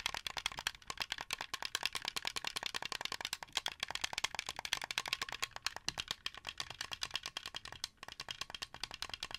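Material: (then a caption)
Plastic. Fingers and nails tap and click the white buttons and face of a translucent blue, hollow plastic Xbox 360 game controller. The result is a rapid, steady stream of dozens of short, dry plastic clicks and taps. They are bright and high with almost no low end and no ring.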